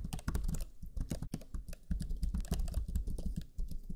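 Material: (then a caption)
Plastic. Fingertips of both hands type rapidly on the black chiclet keyboard of a Lenovo Legion 5 laptop, with its low-profile plastic keys. It makes a dense, steady run of short, dull key-press taps with a soft, low-heavy clatter and a brief brighter tick on some presses. Each tap dies away almost at once, with a few slightly louder strokes standing out.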